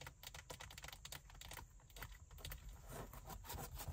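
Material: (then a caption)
Leather. Long white acrylic nails rapidly scratch and tap along the side and top edge of a large, padded black leather (likely faux leather) car seat backrest. The result is a quiet, continuous stream of quick, crisp clicks and scratchy taps that die away almost instantly, over a low rumble and a steady high-pitched hiss.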